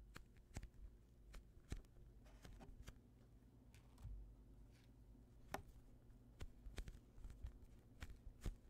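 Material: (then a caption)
Polyurethane foam. A hand-sized, soft, solid polyurethane foam squishy toy shaped like a slice of white bread is pressed and rubbed with the thumbs and fingertips of both hands. The result is quiet, low, muffled squeezing and rubbing, with scattered brief, dry crackling clicks that reach up bright over a steady low hum.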